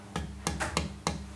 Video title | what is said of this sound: Wood Selection for a Guitar. With Guitar Maker Pablo Requena. | आप पहले से ही बता सकते हैं कि यह एक प्रकार का जीवंत है और यह किसी प्रकार की ध्वनि उत्पन्न करने वाला है